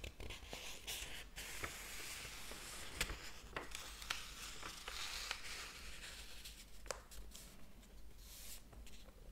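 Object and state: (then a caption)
Paper book pages being flipped. Fingertips flip the paper pages of a large, thick hardcover book lying open on a table and rub across them. A steady, bright papery rustle and scratching runs throughout, broken by short, crisp snaps as pages are turned, over a faint low rumble.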